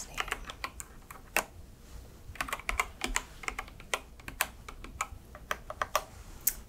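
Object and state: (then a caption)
Plastic mechanical keyboard. Long red nails type steadily on a white and yellow mechanical keyboard with plastic keycaps. The keystrokes are crisp and bright, each a short plastic clack that dies away almost at once, in an uneven rhythm with a few louder taps standing out over soft background hiss.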